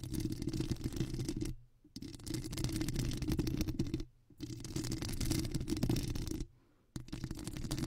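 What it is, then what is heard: Foam microphone windscreen being scratched. Long acrylic nails scratch a black foam microphone windscreen, partly with one hand, making a dense, muffled, low-heavy rustling and crackling. The scratching comes in three long bursts, broken by two brief silences.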